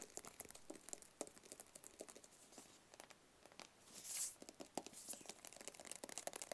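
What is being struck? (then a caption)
Small cardboard box. A small, hollow white cardboard product box, held close, is tapped rapidly with fingertips and nails. The result is a dense run of quick, dry, bright clicks with very little ring, plus a brief hissy scraping swell near the middle.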